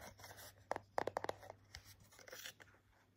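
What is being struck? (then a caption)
Plastic blister pack on cardboard card. Short fingernails tap and scratch on hair clip packaging, a clear plastic blister pack on a holographic cardboard backing card. Quick, light plastic clicks with a hollow mid-range tone cluster between brief, soft scratching rustles, over a low steady hum.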